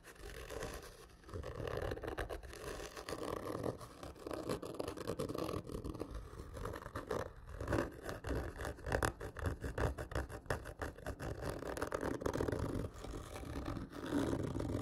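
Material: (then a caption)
Cardboard. Fingernail tips scratch hard and slowly across the surface of a large, hollow, black printed cardboard whisky gift tube lying horizontally. The scratches come as a continuous series of dull, rasping strokes with a deep, hollow body and very little brightness, rising and falling in bursts throughout.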